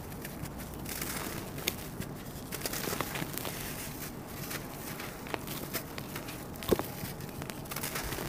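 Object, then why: Sand-cement chunks. Bare fingers hold, press and crumble solid chunks of dried red sand-cement, palm-sized and larger, sitting in loose powder. A steady, gritty crackling and crunching runs throughout, with a few sharper snaps standing out as pieces break apart into dust.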